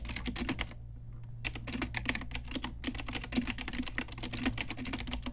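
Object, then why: Plastic mechanical keyboard. An Ajazz pink retro typewriter-style mechanical keyboard with round plastic keycaps is typed on with long nails and fingertips. Rapid, bright clicky keystrokes come in quick bursts, with a short pause near the first second. A steady low hum sits underneath.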